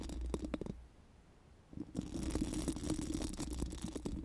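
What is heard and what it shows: Four pink silicone spoolie brushes are rubbed over a bare, hollow steel mesh microphone grille, making rapid, scratchy brushing strokes with a low, hollow rumble underneath. The brushing pauses briefly into near silence, then resumes and continues steadily to the end.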